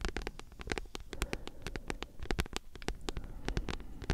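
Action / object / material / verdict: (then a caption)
tap / thick paperback book with card cover / paper / none. Long nails tap and scratch a thick, solid paperback book with a glossy card cover. A quick, uneven run of short, dry ticks with bright clicky edges over a soft, low thumping body, with faint scratchy rustle filling the gaps.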